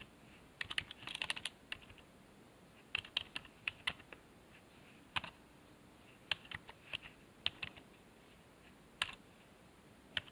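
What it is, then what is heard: Plastic computer keyboard. A fingertip presses the numpad keys one by one on a black plastic computer keyboard resting on a wooden desk. Short, bright plastic clicks come in irregular bursts, with a quick flurry near the start, then sparser taps. Each click dies away almost instantly against a quiet background.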